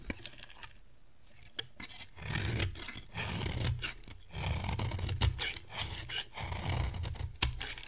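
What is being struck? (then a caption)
Bar of soap shaved with a metal blade. A metal blade shaves a solid, dry yellow bar of soap, producing a series of rough, rasping scrapes over a low rumble, punctuated by a few sharp bright clicks. Crumbly flakes fall away as it is cut.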